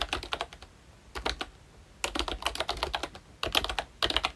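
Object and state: Plastic membrane keyboard.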